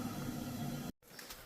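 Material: Nothing is struck.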